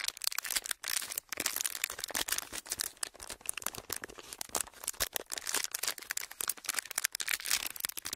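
A pleated, thin, clear plastic sheet is stretched and folded by fingertips, giving a steady stream of dense, bright crinkling and crackling. The sharp bursts come in quick irregular clusters with almost no low end, each snapping off with no ring.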